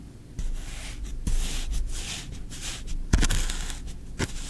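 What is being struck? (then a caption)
Kinetic sand in a tray, scraped with a wooden stick. A thin wooden stick is poked and scraped through green kinetic sand in a tray while the other hand rests on the sand. The result is a soft, gritty, bright scraping hiss, broken by occasional dull low thumps where the stick pushes into the sand.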